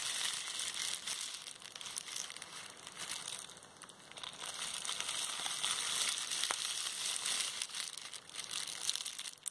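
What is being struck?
Plastic bubble wrap.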